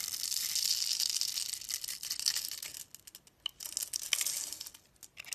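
A snap-off utility knife scores a grid into a palm-sized, solid orange-and-yellow striped bar of soap held in the hand, then cuts and scrapes off small cubes. A dense, bright, crisp scratching and crackling fills the first part, then breaks into sparser, sharp ticks and short scrapes with quiet gaps between them.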